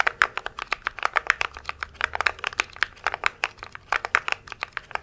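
Fingertips type rapidly across the plastic keycaps of a compact mechanical keyboard held close to the mic. About 33 sharp, dry clicks follow in a quick, uneven stream, each bright and snappy around 1.5 kHz with almost no low end and no ring.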